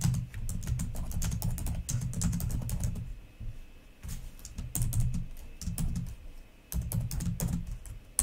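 Fingertips and long nails type on the plastic keys of a black laptop keyboard. Rapid, dense clicking taps, each with a soft low thud and a short bright tick, pause briefly around the fourth second and again near the seventh before resuming.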